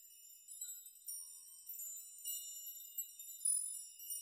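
Fingertips brush and shake through a chime of many long hanging metal nails, knocking them against each other. The result is a quiet, continuous high, bright tinkling shimmer with no low end, swelling in several louder clusters of short-lived pings as the nails are stirred.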